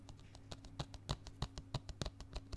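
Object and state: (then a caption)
Plastic DVD case. Fingertips and nails tap repeatedly on the front cover of a hollow, closed plastic DVD case with a printed cover, held in one hand against the chest. About 18 quiet, dry, bright clicks come in a quick, uneven rhythm, each dying away almost at once, over a steady low hum.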